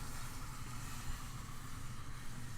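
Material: Nothing is struck.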